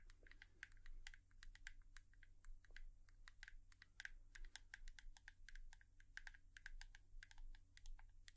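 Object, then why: Plastic hairbrush tapped with fingernails. A hairbrush is tapped quickly and steadily with long nails, giving a dense run of short, dry clicks with a bright edge and a main tone near 1.6 kHz. Each tap dies away almost at once over a constant low hum.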